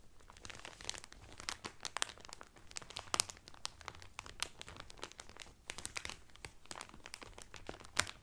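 Both hands press and crinkle the clear cellophane wrapper around a blue Carnival cotton towel folded flat. The result is a steady stream of crisp, bright crackles and snaps with sharp peaks scattered throughout and almost no low end.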